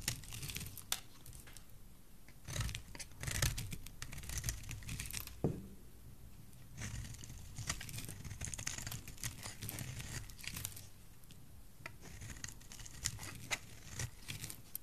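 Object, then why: Cream soap bar. A utility knife blade slices thin layers off a solid cream soap bar, making a series of crisp, dry scraping and tearing strokes with a crinkly, bright edge. Some passes are longer and louder rasps, with quick, brittle ticks between them over a low, soft rumble.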